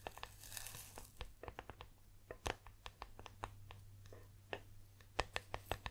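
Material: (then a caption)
Metal. Long nails tap and scratch the body of a green metal tea tin held sideways close to the microphone. Quiet, sharp clicks with very little ring arrive in an irregular series, with a brief scratchy swish near the start. A steady low hum runs underneath throughout.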